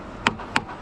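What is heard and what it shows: Three taps on a section of a steel concrete pump line, each a short, bright metallic ping centered near 950 Hz that dies away almost at once. The section is judged empty there, with the plug believed to be segregated material further back in the line.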